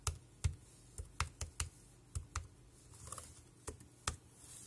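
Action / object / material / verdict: tap / plastic keyboard keys / plastic / none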